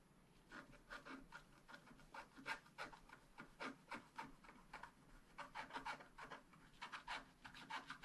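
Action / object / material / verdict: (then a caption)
scrape / black-coated scratch-art paper card scratched with a wooden stylus / coated paper / none. A wooden stylus scratches the black coating off a thin, roughly A4 scratch-art paper card with a dragon design, held flat by one hand on a tabletop. A quick, uneven series of short, dry, raspy scraping strokes sounds bright and papery, with each stroke stopping abruptly. The coating is scraped away stroke by stroke.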